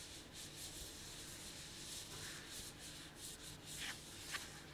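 A medium printed plastic snack bag with a kraft-paper look, filled with sunflower seeds, is held up and crinkled and rubbed with bare fingertips. It makes a soft, steady, bright rustling hiss with faint low rumble underneath, and a couple of sharper crinkles near the end.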